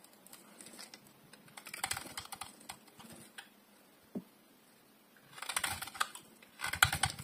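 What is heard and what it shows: A solid, hand-sized bar of dry blue and white striped soap is held in one hand and shaved with a metal utility blade, the shavings piling up below. Bursts of crisp, bright scraping and crackling clicks come and go between quiet pauses, with a single soft tap near the middle. The loudest, densest carving bursts come near the end.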